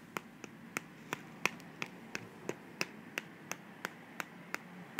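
Long manicured nails tap and scratch along the sides and flaps of a small, slim, hollow white cardboard box held in the hand. Sixteen quick, dry, bright clicks come at an uneven pace, each stopping almost instantly, over a faint steady hiss.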